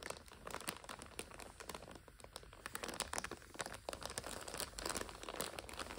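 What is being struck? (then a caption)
Instant noodle multipack in clear plastic overwrap. Long nails and fingertips press, scratch and crinkle the clear plastic overwrap of a full purple five-pack of instant noodles. Dense, bright crinkles and sharp crackles come in rapid bursts, each dying almost instantly.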